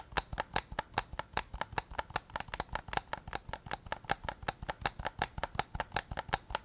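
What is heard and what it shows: Fingertips and nails tap the hollow plastic shell of a white PS5 controller held just behind the recorder. About 34 quick, dry clicks come in an uneven stream, each with a midrange knock around 800 Hz and a bright, crisp top that dies away instantly.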